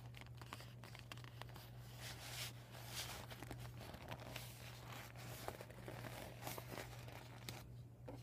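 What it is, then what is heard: Deflated vinyl beach ball. A flat, empty, deflated PVC vinyl beach ball with marker writing on a yellow panel is scratched and tapped with short nails and crinkled by fingers. The result is a quiet, continuous stream of bright crinkling, scratching and small sharp ticks over a steady low hum.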